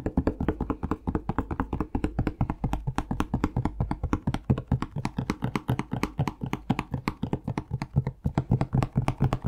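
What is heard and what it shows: Fingertips tap rapidly and steadily on a plastic Palmolive shower gel bottle for the whole clip. Each tap is short, dull and hollow, with a low body around 133 Hz and little high-end brightness.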